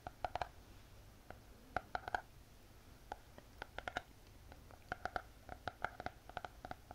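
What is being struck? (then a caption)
Spiral notebook with glossy cardboard cover. Long painted fingernails tap and scratch on the glossy hard cardboard cover of a closed spiral notebook. Quiet, rapid clusters of sharp clicks carry a faint hollow ring near 730 Hz, with soft scratching between them. Each tap dies away almost instantly.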